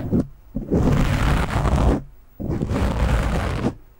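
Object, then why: Foam microphone windscreen. Both hands scratch and rub a black foam windscreen on a microphone with fingertips and short nails, producing a dense, rumbling, crackly scuffing that is heavy in the low end. A brief burst opens the clip, followed by two longer stretches of scratching separated by short pauses.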